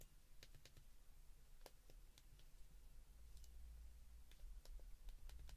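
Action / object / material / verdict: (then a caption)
tap / plastic flip phone keypad buttons / plastic / none. Fingertips press the keypad buttons of a white plastic flip phone, making quick, sharp, bright clicks at an irregular pace. A steady low hum runs underneath and grows slightly louder toward the end.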